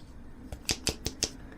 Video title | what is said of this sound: Comparing and testing two cheap LED aluminium flashlights - camping - outdoor - affordable | rattling a bit when you shake it yeah that the batteries are rattling inside the case